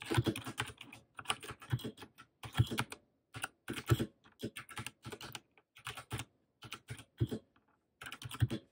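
Rapid typing with both hands on a compact white Royal Kludge mechanical keyboard with plastic keycaps and RGB backlight, set on a desk in front of a laptop. Quick bursts of short, dry plastic clacks come in runs separated by brief pauses. The keystrokes sound deep and muted rather than bright.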